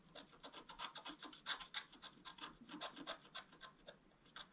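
A wooden stylus scrapes short, quick strokes across a flat black coated scratch art paper board. The result is a series of dry, bright rasping scratches at an uneven rhythm, with little low end and almost no ring after each stroke.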